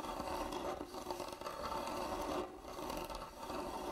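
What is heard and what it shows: A medium hand-carved hollow wooden box, closed, with fingernails scratching across its carved top while hands rest on its sides. The sound is a steady dry scratching and rasping with a hollow midrange body and brief dips between strokes.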